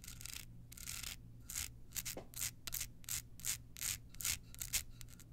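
Long nails rub and scratch across a small hollow rhinestone-covered card holder in a quick, uneven series of bright, hissy strokes. Each scrape is a short, crisp burst with almost no ring, over a faint steady low hum.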